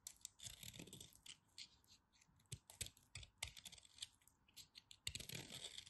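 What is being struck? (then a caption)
Bar of soap. A carved piece of white bar soap, held between long white nails, is cut with a knife blade. Quiet, rapid, crisp crackles and scrapes come in irregular bursts, bright and dry with almost no ring.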